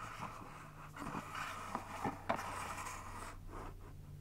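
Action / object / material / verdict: tap / small plastic drawer organizer / plastic / none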